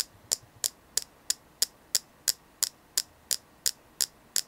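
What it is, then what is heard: Selenite crystal. Steady tapping on a selenite crystal produces short, bright clicks that die away almost instantly. Thirteen evenly spaced taps are heard over a low, faint hum.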